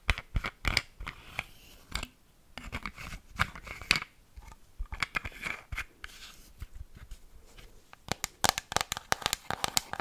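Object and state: Plastic bottle with liquid, tapped and scratched with fingernails.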